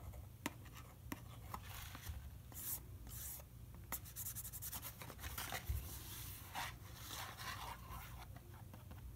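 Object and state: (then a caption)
Cardboard box. Fingertips and nails scratch and tap across the faces of a small, hollow, rectangular Herbion Cold & Flu cardboard medicine box held in one hand. Soft, bright scratching and rubbing run throughout, broken by short, crisp taps over a steady low hum.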